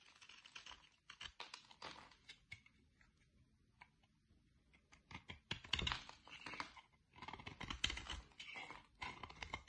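A utility-knife blade cuts into a solid green oval bar of soap with an embossed logo, held in the hand, and shaves off flakes. The quiet, bright, crisp scraping and crackling comes in quick bursts of short strokes, with brief pauses between them.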